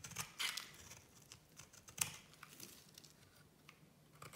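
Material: Soap.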